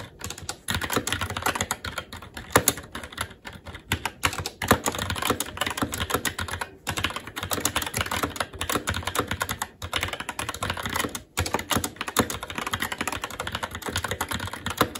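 Fingertips of both hands type continuously on a SteelSeries Apex 7 TKL mechanical keyboard with red linear switches, black plastic keycaps and an aluminum plate. Rapid, short, bright clacks run in a dense stream, with brief pauses around 7 and 11 seconds.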